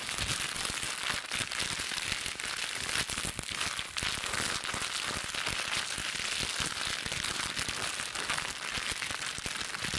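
A small, light, hollow-folded wad of thin clear plastic film, cling wrap or a bubble-wrap scrap, is squeezed and crinkled between the fingertips and long pink nails of both hands. It makes a dense, continuous, bright crackling with rapid overlapping snaps. The level stays steady for the whole clip, with little low-end weight.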